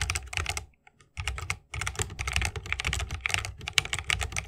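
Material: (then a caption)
Plastic, bamboo. Fingertips of both hands type continuously on a 60% mechanical keyboard with plastic keycaps and tactile Holy Panda switches in a bamboo wooden case. Quick, bright clacks with a thudding low end come in rapid bursts, broken by a brief pause near the first second. Each keystroke dies away almost instantly.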